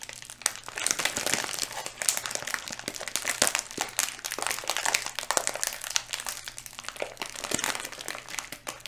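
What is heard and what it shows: Fingertips squeeze and rub a small, full-looking, yellow flexible plastic Skittles candy bag held close to the mic. The result is continuous, bright, crisp crinkling, with dense crackles and sharp snaps across the whole clip.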